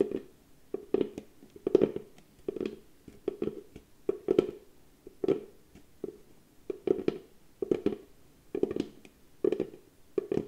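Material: Wood.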